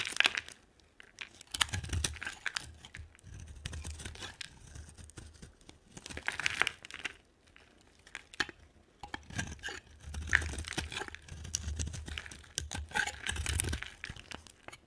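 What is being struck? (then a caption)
Bar of soap. A solid white embossed bar of dry soap with a pink rim is scraped and cut with a utility knife blade, giving dry, crunchy scraping and crackling in repeated bursts. Bright, brittle rasps and small snaps ride over soft low thumps from the bar, with short quiet pauses between strokes.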